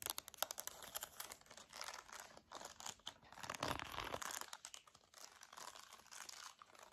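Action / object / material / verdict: tap / plastic TV remote control / plastic / none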